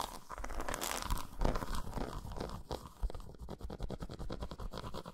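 Long nails scratch and tap the patterned squares of an unwrapped solid dark chocolate bar resting on a towel. The sound is a dry, crunchy scratching that shifts into a quick run of short taps. It is mostly low and dull in tone, and each sound dies away quickly.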